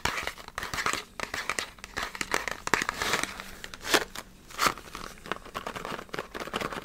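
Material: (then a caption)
Cardboard. Fingertips and nails grip, tap and squeeze a small green printed cardboard box of stock cubes. The result is fast, irregular crinkling and crackling with bright, dry taps and rustles that die away almost instantly.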